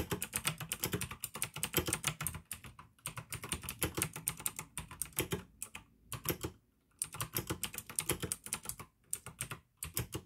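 Fingertips type fast on the keycaps of a full-size pink plastic AUKEY mechanical gaming keyboard with RGB backlight, clicky blue switches and a hollow case. Rapid bright, sharp clicks over a low hollow clack come in dense bursts, with brief pauses near 2.5 and 9 seconds and a longer near-silent gap around 6.5 seconds.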